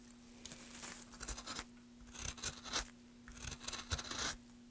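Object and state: Wooden plank being scraped.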